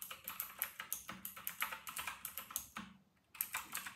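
Fingertips of both hands type fast on a full-size white RK960 plastic mechanical keyboard with round retro plastic keycaps. A rapid run of bright, crisp plastic clicks with very short decay pauses briefly near the end before the typing resumes.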